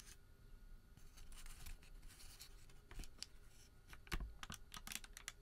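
Bare fingertips crumple a small, thin, heavily creased white thermal paper receipt, then spread it flat and tug it between both hands. Soft, scratchy crinkling and bright crackles run throughout over a low rumble, building to sharper, louder crackling snaps near the end.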